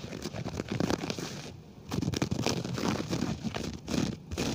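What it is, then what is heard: Synthetic carpet being scratched. Fingertips scratch and brush the pile of a flat grey low-pile synthetic carpet right beside a small silver mini microphone lying on the floor, without touching the mic. The result is a dense run of close, soft, crinkly scratching and brushing strokes, mostly low-mid with little high hiss, easing off briefly in quieter gaps between bursts.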